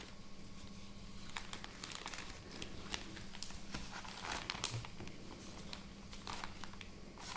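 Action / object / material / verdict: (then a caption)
tap / plastic film bag of cotton pads / plastic film / none. A plastic film bag of cotton pads, lying on a table with its opened end visible, is crinkled and tapped with long nails. Quiet, bright crinkling and sharp ticks come in quick, uneven bursts over a faint, steady low hum.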